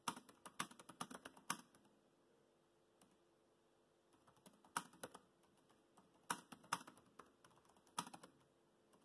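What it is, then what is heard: Plastic laptop keyboard. Fingertips tap the black plastic keys of a laptop keyboard while typing, producing quick, crisp clicks with a bright edge and almost no low end. The typing comes in short bursts separated by quiet pauses, with each keystroke dying away almost instantly.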